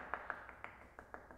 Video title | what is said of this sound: Was du unbedingt in deiner Elektroinstallation brauchst - 26 Tipps für moderne Elektrik | man hört es hier ist es hier ist es irgendwo hohl hinter